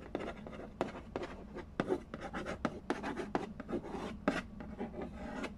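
Fingertips and nails scratch and trace the glossy lid of a hollow cardboard Candy Land board game box resting on a wooden floor. The result is a quiet, dry run of rasping, papery strokes, broken by sharper tapping clicks that end quickly with little ring.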